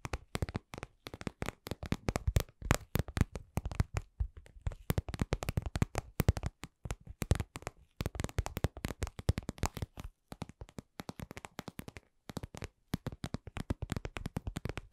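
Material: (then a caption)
Vinyl. Long glittery acrylic nails tap and scratch a glossy red patent vinyl (PVC) cosmetic pouch shaped like lips, medium-sized, soft, padded and hollow. A steady run of quick, dry taps gives mostly low, muted thumps with sharp bright clicks on top and very little ring, broken by short pauses near the ten- and twelve-second marks.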